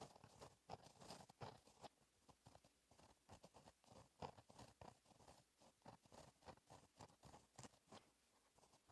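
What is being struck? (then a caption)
Gel pen with a metal tip on a lined paper notebook page. A pink gel pen with a metal tip writes cursive strokes on a flat black lined paper notebook page. It makes quiet, rapid scratching strokes in short bursts with brief pauses between them, each stroke crisp and dry with a mid-range rasp and a bright edge that fades almost instantly.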